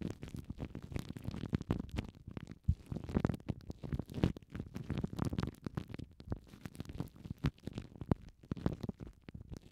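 Fingertips and long painted nails rub, squeeze and crinkle thin clear plastic cling film wrapped tightly around two small foam microphone windshields, one yellow and one orange. The result is a dense, close stream of low, rumbling crinkles and scratchy rustles, with brief bright crackles flickering on top.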